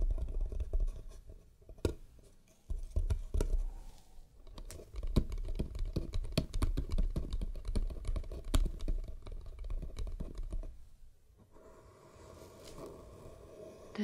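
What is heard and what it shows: Long painted nails tap and scratch the lid and sides of a closed, hollow, palm-sized to medium hexagonal wooden box painted in teal and black stripes, with a red ribbon bow and a small metal latch. Quick, irregular taps land as short, dull, low knocks that die away almost at once, mixed with soft scratching. Near the end the tapping stops and a quieter, steady scratching rustle remains.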